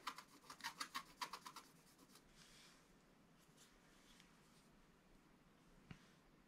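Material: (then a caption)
Coated paper. A wooden scratch stylus scratches away the black layer of a black-coated scratch-art page in a spiral book on a table with short strokes. Twelve quick, bright, raspy scratches come in a fast burst over the first second and a half, then fade into a long stretch of soft, faint scraping. A single light tick sounds near the end.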